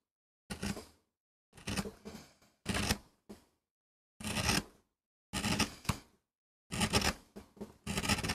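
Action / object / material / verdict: scrape / MDF carving block / MDF / none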